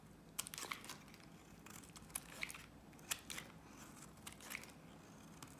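A solid blue Nivea soap bar held in the hand is carved with a box-cutter blade, curling off shavings. Quiet, crisp scraping and crunching strokes come in short bright bursts with little low end, each dying away almost at once.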